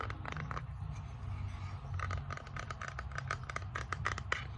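Fingernails scratch and tap across the flat surface of a small solid bamboo tray with a raised rim, close to the mic. Quick, bright wooden clicks and dry scraping sounds repeat throughout, over a steady low rumble. Each tap stops almost immediately.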